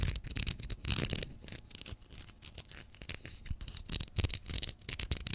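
Long nails scratch and tap along the plastic body and label of a small Pritt glue stick, a capped plastic tube filled with glue, held horizontally above the mic. Close, dry scratching rasps mix with quick light taps in uneven bursts, with bright crackly highs over soft low thumps.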